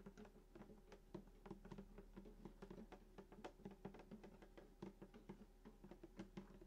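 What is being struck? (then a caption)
Wooden acoustic guitar top. Fingertips tap the wooden top of a hollow sunburst acoustic guitar lying flat, around the bridge and the black pickguard. A quiet, steady run of soft, quick taps gives short, hollow, woody thuds with a low body resonance and very little high-end brightness, each dying away almost at once.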